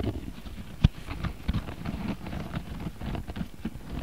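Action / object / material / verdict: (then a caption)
scrape / coiled cotton rope bag / cotton rope / none. Fingertips and nails scratch and tap the woven surface of a medium-sized, round, flat bag of coiled beige cotton rope with a rope strap. The result is a steady, muffled scratching rustle made of short, soft, low thumps, with one sharper tap standing out early on.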